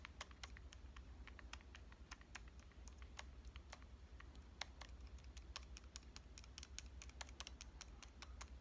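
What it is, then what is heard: Metal compact camera body tapped with fingernails. Long painted nails tap rapidly on the front body and around the lens ring of a small pink metal Canon compact camera held upright. The result is a quick, continuous patter of short, dry, bright clicks with almost no ring, over a steady low hum.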